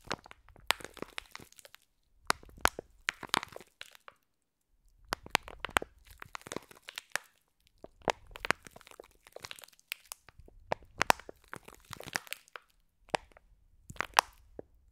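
Fingers squeeze and crunch a clear plastic pack of green foam bead slime, with the pack moved partly up. The result is bursts of sharp, bright crackles and crunches with crinkly plastic, separated by short silent pauses.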